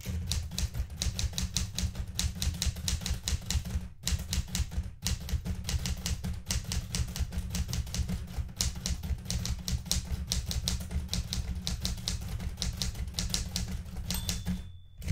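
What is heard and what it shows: Fingertips type continuously on the plastic keys of a blue metal portable manual typewriter. A rapid, steady stream of sharp clacks with bright key transients over a heavy low thump, broken by brief pauses near 4 and 5 seconds, ends with a short drop in level.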